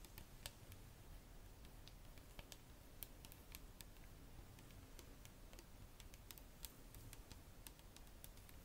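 Long nails tap the body and red cap of a clear plastic Bioderma micellar water bottle, full of liquid. Quick, dry, bright ticks with almost no ring come at an irregular pace over a steady low rumble.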